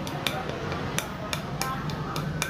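A cross-wrapped tegek fishing rod finished with clear, glass-like resin is flicked with a fingernail in a series of sharp, short clicks with brief bright ringing over a low background hum. The resin coating is hard, hard enough that flicking it hurts the fingernail.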